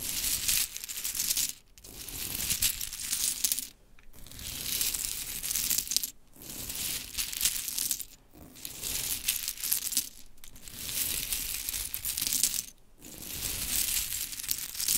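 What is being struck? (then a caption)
Small wooden clothespins in a pile. Hands with long chrome nails scoop and gather a pile of small solid pink wooden mini clothespins, making them clatter. A dense, bright, high-pitched rattle of clicks runs in sustained bursts, with brief near-silent pauses between scoops and very little low end.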